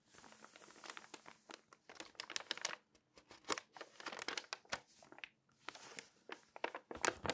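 Long painted nails and fingertips turn, scratch and crinkle the pages of an open, thin glossy paper magazine lying flat. The result is a quiet, continuous run of crisp, bright crinkles and sharp, dry scratching clicks with almost no low end. Brief softer rustling pauses come between the bursts.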